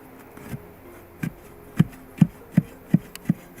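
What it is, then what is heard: Buried tree root, wood. A probe or staff is pushed down to strike a wooden tree root in the ground, producing eight short, dull, low thuds that die away almost at once. The soft, deadened knocks of the wood contrast with the hard, ringing hum of a solid stone surface.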